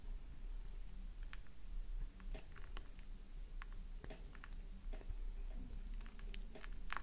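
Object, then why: Bar soap. Scraping and gouging a solid pink flower-shaped bar of soap held in both hands with thumbs and long nails, so shavings pile up below. Faint, quick dry scratches and crisp clicks sit over a steady low hum in a quiet space.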